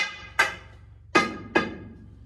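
A sounding bar strikes a mine tunnel roof (the back) after a blast, testing for loose, hanging rock. Three sharp taps ring with a bright, hollow tone and die away quickly. The hollow sound marks a loose spot in the roof rock.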